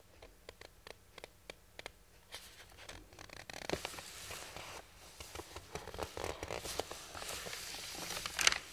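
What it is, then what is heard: Paper instruction sheet. Fingertips and palms rub and slide over a large, thin printed paper plan sheet lying flat on a wooden workbench. It opens with a string of short, separate, bright ticks, then turns into a continuous high, dry rustling and swishing that grows louder after about three and a half seconds, with scratchy bursts and a sharp crackle near the end.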